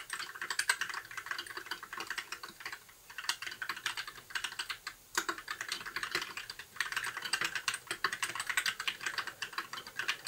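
Fingertips of both hands type continuously on a compact white mechanical keyboard with backlit plastic keycaps. Each key press gives a short, bright plastic clack with no low thump, running in quick bursts with brief lulls near the 3, 5 and 7 second marks. The result is a steady, dense stream of crisp clicks.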